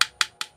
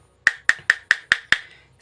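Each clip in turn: First: Three short, bright plastic ticks with almost no ring: a miniature circuit breaker that sounds solid inside. Second: Six quick, bright plastic clacks around 1.8 kHz that die almost at once: an empty breaker shell.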